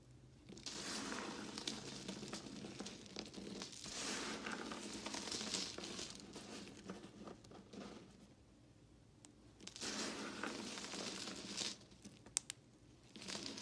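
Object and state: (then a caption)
Crushed bar soap pieces. Fingertips with long glittery nails rub, crumble and scratch small pieces of broken white and red bar soap between the fingers above a pile of soap chunks on a pink surface. The sound is a dry, bright, crumbly crunching and crinkling that comes in long sustained bursts, easing into quieter pauses before picking up again.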